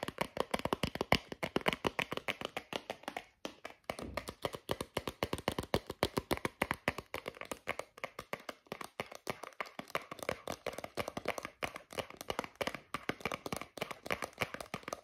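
Fingertips and nails tap and scratch a small cardboard card with a plastic blister, a lip balm blister pack, held close up. The result is a fast, steady stream of short, dry clicky taps with light scratching, brief pauses near 3.5 and 8.5 seconds, and a crisp, mid-to-bright tone that dies away almost instantly.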